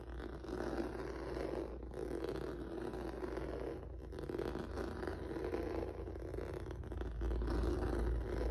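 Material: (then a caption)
Rubber. Fingertips and nails scratch across a flat black rubber or vinyl mat with a textured noodle surface. The result is a continuous, dense, low scraping rustle with rhythmic strokes, steady in level and slightly louder near the end.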